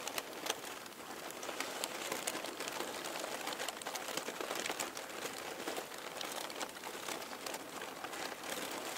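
Fingertips with painted nails press, squeeze and crinkle a loose pile of thin, light, crumpled purple and pink tissue paper sheets resting on a table. The result is a steady, dense crinkling full of quick, dry crackles that are bright and airy, with almost no low end.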